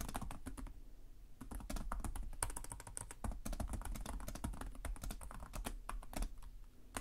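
Fingertips type on the plastic keys of a black laptop keyboard, producing a rapid, uneven stream of short, dry clicks with soft low thumps beneath them. The taps thin out briefly near the one-second mark, then resume at a steady quick pace, with each keystroke dying away almost instantly.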